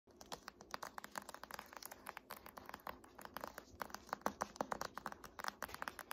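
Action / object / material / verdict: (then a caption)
tap / hardcover paper textbook / cardboard, paper / none. Long painted nails and fingertips tap and scratch the glossy front cover of a large, thick, solid "Art History" hardcover paper textbook resting on a lap. The result is a quiet, steady run of crisp, dry clicks centered around 1 kHz, with faint scratching between them and almost no ring after each tap.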